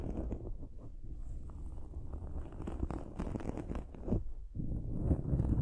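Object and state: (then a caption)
Foam microphone windscreen being scratched. Long nails scratch the dark foam windscreen on a silver microphone. Dense, muffled scratching and rustling rumbles mostly in the low range, with irregular bursts and a brief quiet dip before the scratching picks up louder again.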